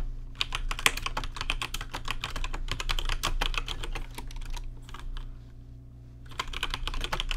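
Fingertips type quickly and unevenly on a rainbow-lit plastic RGB mechanical keyboard with plastic keycaps, producing short, bright, clacky keystrokes over a steady low hum. The typing thins to a few scattered taps and a brief lull near the end, then picks back up into a fast burst.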